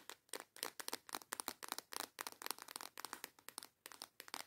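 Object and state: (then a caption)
Plastic box of nail tips. A small transparent plastic box full of colorful false nail tips is tapped and scratched with long yellow nails. The result is a fast, uneven series of sharp, dry clicks and crinkly scratches, bright and crisp with no low end, each dying away almost instantly.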